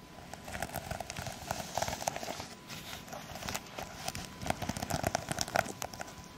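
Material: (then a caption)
Plastic sequins. Long acrylic nails on both hands scratch and tap across the plastic sequins of a sequin-covered fabric pouch held close. The result is a dense run of crisp, crackling clicks and scratchy rustles, with a bright edge and a mid-range tick near 700 Hz. Each click stops almost instantly, with louder tapping bursts toward the end.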